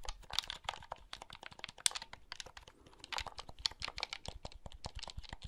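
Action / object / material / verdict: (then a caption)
tap / plastic handheld game console / plastic / none. Fingertips click the buttons and handle the shell of a small, hollow blue plastic handheld game console held close. A rapid, uneven run of bright, dry plastic clicks and taps is heard, with light scraping between them. Each click stops almost at once.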